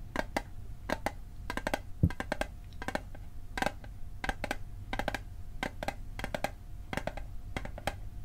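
A small, rectangular, hollow metal Altoids mint tin is held on its side and tapped and knocked along its edges with fingertips. Quick bursts of short, dry metallic clicks and taps come in rapid clusters with brief pauses, each tap dying away almost instantly. A steady low hum and a faint constant tone sit underneath.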